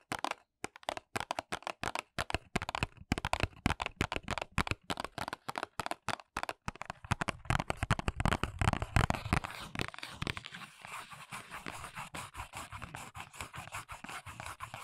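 Long nail tips tap and scratch the printed back panel of a small, hollow paperboard press-on nail box held upright. Quick, dry, sharp taps come in uneven bursts with a hollow, low thud, growing denser and louder. After about ten seconds they give way to a steadier, brighter scratching rasp.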